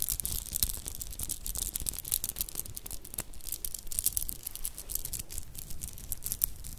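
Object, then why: Bead bracelet of small metal cubes and shell chips. A stretchy child's dress-up bracelet of solid metallic cube beads and dark shell chips is held in both hands close to the mic. Fingertips and purple-painted nails roll and clack the beads, making a dense, continuous run of bright, crisp clicks and rattles over a low rumble.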